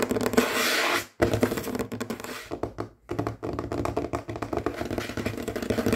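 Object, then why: Wooden tabletop. Fingertips and short natural fingernails of both hands, with rings on the fingers, tap and scratch fast and aggressively on a large solid dark-finished wooden tabletop. Dense, rapid clicks and raspy scratches blend into a steady stream with a woody low-mid body and a bright scraping hiss. The stream briefly drops out just after one second and again around three seconds.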